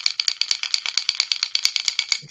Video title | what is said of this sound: The HookupTackle Unboxing and Baits from some friends. | it has a really loud knock